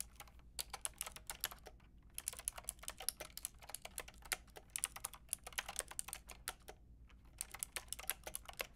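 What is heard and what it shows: A white and pink Lofree mechanical keyboard with round plastic keycaps is typed on with long painted nails and fingertips. Quick, bright, clicky taps come in rapid bursts, with brief pauses near the two- and seven-second marks, over a faint low steady hum.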